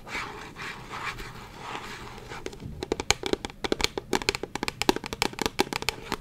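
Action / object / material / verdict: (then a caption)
tap / partly filled plastic bottle / plastic / none. A medium translucent purple plastic bottle with a white cap, partly filled with liquid, is held in one hand and tapped with the fingernails of the other. A soft, airy scratching rustle opens the clip, then gives way to a quick, irregular run of sharp, dry clicking taps with a bright, hollow ring that stops almost instantly.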